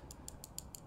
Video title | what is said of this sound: New Tech & Sick Price!? Steel Will Tasso | when you tap the knife there's just this little tapping rattling noise